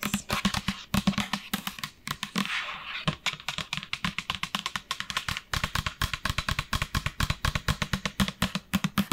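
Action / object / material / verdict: tap / plastic lotion pump bottle / plastic / none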